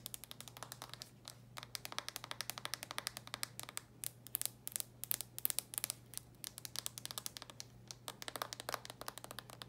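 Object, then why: Plastic handheld game console. Long nails tap and scratch quickly across the glossy red plastic lid of a handheld game console, making a dense run of short, bright clicks. Soft scraping fills the gaps between the taps, over a steady low hum.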